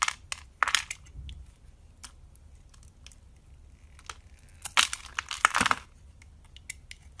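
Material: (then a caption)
Soap. A hand-sized, solid blue oval bar of soap is held in hand while grid-cut cubes are crumbled and carved off it with a blade. Crisp, dry crunching and crumbling bursts come in scattered clusters, with the densest crunches about two-thirds through. The sound is bright with very little low end, and quiet gaps fall between the bursts.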